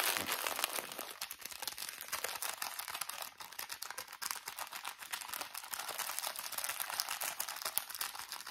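A small, thin plastic drawstring bag full of cotton pads is crinkled and tapped with fingertips. The result is a dense, continuous stream of bright crackling and crinkling with quick soft taps mixed in, all high-pitched with almost no low end.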